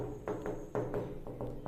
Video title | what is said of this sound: VLOG : Plan de travail, Douche et Moustiquaire | il y a pas de creux sur les murs